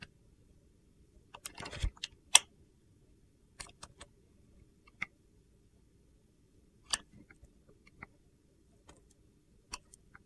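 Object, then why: Clear glycerin soap bar with soap cubes, cut with a blade. A box-cutter blade slices thin shavings off a solid clear glycerin soap bar with colored soap cubes, held in one hand. Sharp, crisp, high-pitched scraping clicks come in short separate bursts over a quiet background, with a longer crunchy rasp near the start.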